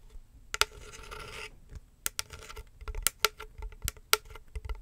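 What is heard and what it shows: Fingernails scratch and tap on a medium hollow box with woven wicker sides and a black textured lid, held close to the microphone. A steady, bright scratching runs from about 0.7 to 1.5 seconds, followed by sharp, dry taps and short scrapes that stop almost at once with no ring.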